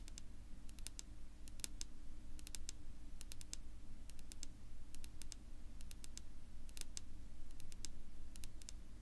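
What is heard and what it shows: Long pink-polished fingernails tap and scratch across a flat, solid, dark wood-grain tabletop. Quick, bright clicks come in irregular bursts of several taps at a time over a steady low rumble, with the scratching adding a soft rasp between them.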